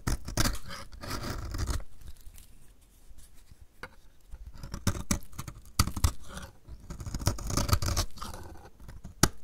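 A snap-off utility knife blade scrapes a solid, hand-sized bar of dry purple-and-white striped soap held in one hand, shaving off curls. Bursts of dry, gritty scraping alternate with sharp clicks and snaps, with quieter gaps between passes.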